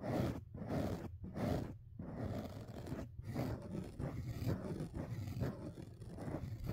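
Fingertips scratch and rub the black foam windscreen covers on a dual-mic rig, held with both hands. The result is a deep, muffled rumbling scratch in rhythmic strokes, with short quiet breaks early on, then turning into a steady, dense rubbing texture.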